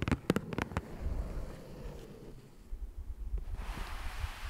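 Fingertips and nails tap and scratch across the surface and edges of a flat green cardboard Ticonderoga pencil box resting on a dark fabric surface. Four quick, dull taps open the clip, followed by a low, rumbling scratch that fades and then returns with a brighter, hissy texture toward the end.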